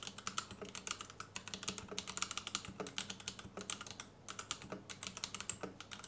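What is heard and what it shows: Fingertips of both hands type on a white compact plastic Royal Kludge RK71 mechanical keyboard with Gateron Red switches and RGB underglow, resting on a desk mat. A steady run of short, bright, clacky keystrokes with very little ring fills the clip, pausing briefly just after the four-second mark before the typing resumes.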